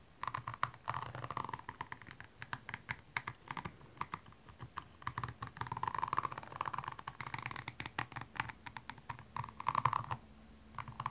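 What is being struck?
Rhinestone-covered high-heel shoe.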